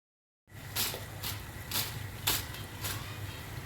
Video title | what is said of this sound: Pakora Recipe- Pakora banane ka Tarika- Aloo Pakoda Recipe- #Trending | You can also hear the sound of how crispy they are